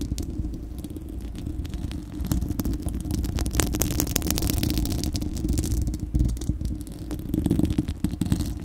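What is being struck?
Steel wire-mesh microphone grille.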